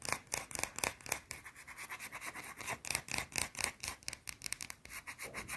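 A small, round, solid white soap bar is scratched fast with long blue nails. The result is a quick, irregular run of bright, raspy scratches with little low end. Each stroke is short and dry, with almost no ring.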